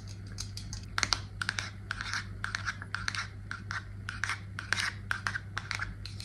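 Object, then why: Aluminium aerosol can with plastic cap. Long nails tap quickly along the body and white plastic cap of an upright Batiste aluminium dry shampoo aerosol can. The taps are a rapid, irregular run of short, bright metallic clicks with almost no ring. A steady low hum sits underneath.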